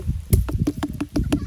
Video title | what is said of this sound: АРБУЗЫ! Как правильно выбрать спелый арбуз. Совет профессионала. | knock on this watermelon, it will ring